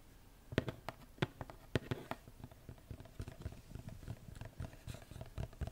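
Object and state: Cardboard gift box.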